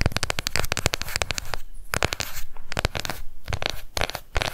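A small, round, pink plastic cushion foundation compact with a clear lid is held up and fast-tapped on its rim and lid with long nails. The result is rapid, dry, clicky plastic taps with no ring, coming in dense bursts separated by brief pauses.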